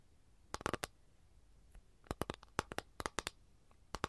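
Long nails tap and scratch on an empty, flat capiz shell tray held up in the air. There is a quick cluster of sharp, dry clicks, a pause with one faint tick, then a faster run of crisp taps. Each tap is bright and dies out almost instantly.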